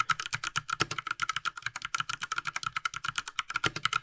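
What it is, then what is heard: Plastic mechanical keyboard. A small 60% Ducky Mecha Mini Frozen Llama Edition mechanical keyboard with a light blue plastic case and plastic keycaps lies flat as its keys are pressed with one hand, then typed on with both gloved hands. About 33 quick, dry plastic clicks and taps follow in a steady rapid stream, each with a bright clack centered around 1.3 kHz and almost no ring.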